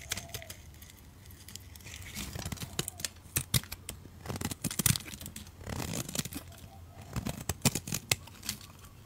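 A utility knife blade shaves long curls off the surface of a solid, oval beige soap bar held in the hand. Crisp, dry scraping and tearing strokes come in uneven bursts with bright crackle and a soft low rumble beneath, each stroke ending abruptly with no ring.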